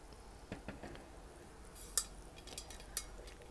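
A new water bottle is tapped, giving a series of light, quiet taps with short clinking high-frequency clicks over a soft background. Each tap dies away almost instantly.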